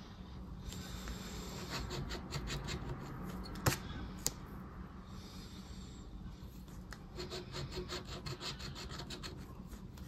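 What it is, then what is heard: Paper scratch card being scratched. A flat paper scratch card resting on dark fabric is touched by a fingertip, then scratched with a black plastic disc scraper in rubbing strokes that leave shavings. A steady, bright scraping rasp rises and falls through the strokes, with two sharp clicks standing out near the middle.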